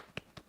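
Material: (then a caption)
Metal. An aerosol can of clear coat from a Meguiar's Two Step Headlight Restoration Kit (G2970) is shaken, giving two short, dull knocks with no sloshing or rattle from a mixing ball inside. Without a rattle ball, the shaking gives no sign of whether the coating is mixing.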